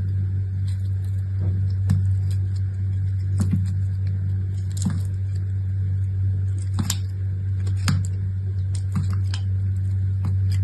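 A small, solid chunk of dried, painted soap is held in the hand and cut and scraped into flakes with a utility knife. Irregular, crisp, bright cutting and scraping snaps cut through a constant low hum, and flakes break away with each stroke.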